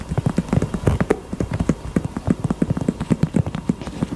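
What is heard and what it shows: A pink heart-shaped purse is tapped with the fingers in quick, uneven bursts. Each tap is a short, dull knock with most of its weight in the low range, dying away almost instantly.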